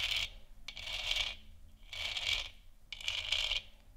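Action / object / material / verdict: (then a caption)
scrape / textured plastic moon lamp sphere / plastic / none. Long nails tap and scratch the sides and top of a large hollow textured plastic moon lamp sphere. Four bright, rasping bursts come in a loose rhythm, with a sharp click just before the second, separated by near silence.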